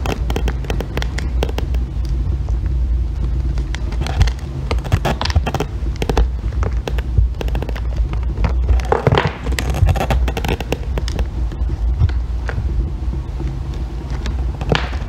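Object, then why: Bar of soap scraped with a metal loop. A metal blackhead-remover loop scrapes curls off a solid green bar of soap resting on a white board, with a long-nailed hand steadying it. Dense, crackly scraping and sharp ticks run throughout over a steady low hum near 90 Hz, with brief brighter bursts as the loop bites into the soap.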